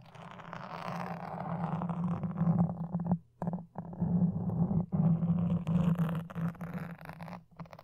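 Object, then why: Foam microphone windscreen. Toothpicks held in long dark nails scratch and poke at a black foam microphone windscreen, making a close, muffled, rumbling scrape with a steady low hum under it. The rough scratching runs almost continuously, with a few brief silent gaps where the toothpicks lift off the foam.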